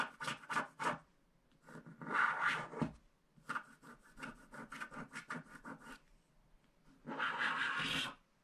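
A wooden stick scratches along the lower part of a small, flat paper scratch art card coated in black wax. Quick, dry scratching strokes come in bursts, with longer, louder scraping rubs around the middle and near the end, producing a rough, bright rasp.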